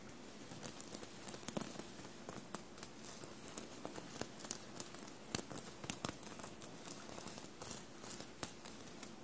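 Long blue-painted nails tap and scratch a dark blue fabric shirt studded with small metallic silver paillettes, bunched on a table. Quiet, scratchy rustling runs throughout, broken by many short, crisp clicks and ticks with a bright, high edge that stop instantly with no ring.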